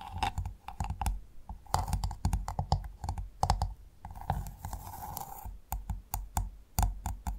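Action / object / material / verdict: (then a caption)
tap / freshwater mussel shell / shell / none. Long nail tips of both hands tap rapidly on the hard, ridged shell of a large, closed freshwater mussel lying flat. The result is a quick, uneven run of sharp, dry clicks with dull low thumps beneath them and almost no ring. Near the middle, the taps give way briefly to a soft, scratchy rustle.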